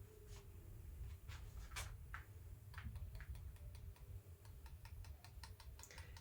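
An egg that has been soaked in cola is tapped on its hard calcium-carbonate shell, giving a run of quick, light, bright clicks over a steady low rumble. The shell stays hard and unchanged, showing the cola has practically not reacted with it.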